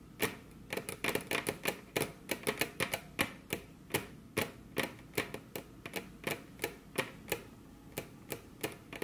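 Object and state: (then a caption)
Wooden table top. Very long curved fingernails, with both hands resting on a flat, solid, glossy dark-brown wood-grain table top, tap the surface with their tips. About 32 sharp, bright, dry clicks land in an uneven, quick rhythm, each dying away almost instantly over a quiet background.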